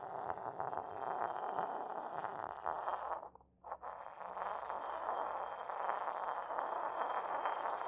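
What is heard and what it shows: A hollow, white decorated porcelain mortar sits upside down on a carpet while its base is rubbed with a porcelain pestle, and the bowl is tilted and moved on the carpet. A steady, gritty scraping centered in the midrange runs throughout, drops away briefly near the middle, then resumes just as strongly to the end.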